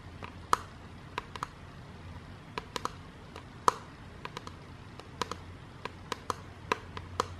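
A clear, rigid acrylic divider panel from a jewelry box organizer, a hollow open frame, is held upright in the hands and tapped with long dark-painted nails. Twenty-two sharp, dry plastic taps land at an uneven pace with a bright click and a brief ringing tone near 1 kHz, each dying away almost instantly over a faint low hum.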